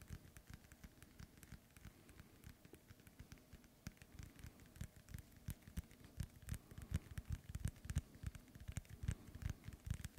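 Fingernails tap on a hollow, inflated synthetic leather soccer ball, making a soft, irregular patter of quick, dull thuds with faint bright clicks on top. The taps are quiet and die away almost at once, growing busier and a little louder in the second half.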